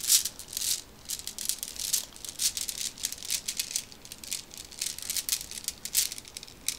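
A small clear plastic pack with a cardboard header card, filled with many black round decorative marbles, is held in one hand and shaken and squeezed with fingertips and long red nails. The beads give off a steady run of bright, dry rattling bursts with almost no low end, each burst dying away quickly.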